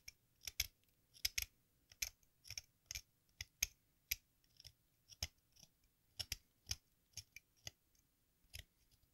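A craft knife blade scrapes the red surface of a solid sidewalk chalk block shaped like a watermelon slice, held upright, with the shavings falling into a pink plastic bowl. Twenty-three short, dry, crisp scrapes sound in irregular bursts, bright and hissy with little low end. Each scrape cuts off instantly against near silence.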